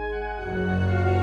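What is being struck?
Nothing is struck.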